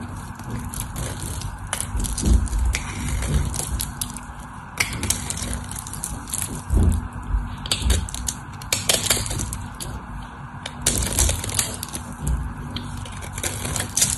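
A white solid bar of soap held in the hand is cut and scraped with a craft knife blade. The sound is a continuous run of crisp, flaking, crunchy cuts with bright scraping texture and soft low thumps. Small pieces crumble away with each stroke.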